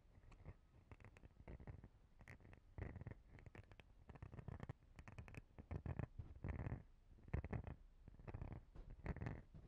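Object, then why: Rigid clear plastic body brush. Long dark-painted fingernails scratch and tap a palm-sized, rigid, transparent plastic cellulite body brush with rounded nubs on top and a hollow base. Quiet bursts of dry scratching and hollow tapping come in quick clusters, heavy in the low end with faint bright clicks.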